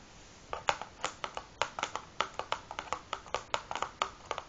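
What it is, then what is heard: Cardboard matchbox. Long fingernails of both hands tap the top of a large, closed cardboard matchbox filled with matches, resting on a wooden table. The taps come as about 22 quick, dry clicks in an uneven rhythm, each with a short hollow tone around 800 Hz, a bright edge and almost no ring or low end.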